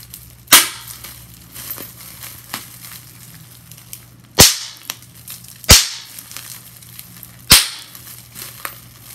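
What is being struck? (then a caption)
Plastic bubble wrap. Clear plastic bubble wrap is bunched in the hands as its bubbles are squeezed and popped. Four loud, bright, sharp pops stand out, with quieter crinkles and small snaps of plastic between them over a faint low hum.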